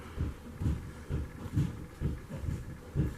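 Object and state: Nothing is struck.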